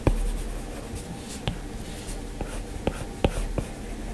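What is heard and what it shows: A plastic-tipped Apple Pencil, held in the fingers, taps and strokes across the large flat glass touchscreen of an iPad in a white frame while drawing. Soft, steady scratchy strokes are broken by a few sharp, short clicks of the tip on the glass. Each click dies away almost at once.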